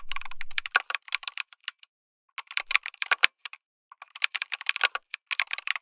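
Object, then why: Mechanical keyboard with plastic keycaps. Fingertips type continuously on a backlit mechanical keyboard with plastic keycaps, an FR4 plate and tactile switches. Quick, bright plastic clacks come in rapid bursts with two brief pauses, each keystroke short and dry with almost no ring. A faint low hum sits under the first half second.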